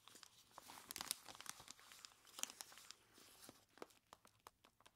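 Long plastic claws grip and scratch the sides of a large clear plastic bag full of ice cubes. Quiet, bright crinkling and scratching is broken by many sharp clicks and crunchy ticks, with almost no low end.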